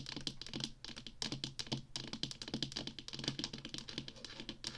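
Long fingernails tap quickly on the sides of a small, hollow black plastic Atari joystick controller held upright. The result is a dense run of sharp, clicky taps with a light hollow knock under them.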